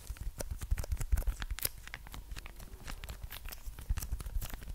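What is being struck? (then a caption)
Small plastic condiment sachet. A small red plastic ketchup sachet, apparently full, is held in one hand and tapped and scratched with the long nails of the other. The result is a dense run of quick, dry crinkling taps and scratches with soft low thumps, each sound dying away almost at once.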